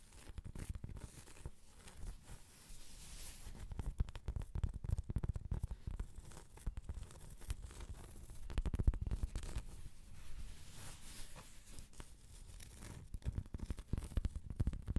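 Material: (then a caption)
Cork. Long pointed acrylic nails scratch across the surface of a large, thin, solid round cork trivet held in both hands. The result is a steady stream of dry, crackly scratching and rasping with a heavy, muffled low-end body and quick bursts of brighter scraping.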